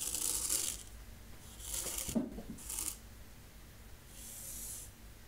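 A thin wooden stick draws the letters P-E-A-C-E in fine white sand filling a shallow rectangular wooden zen garden tray. It makes soft, dry, bright scratching strokes in separate bursts, with a brief gritty scrape as it furrows the sand. Quiet pauses fall between the strokes.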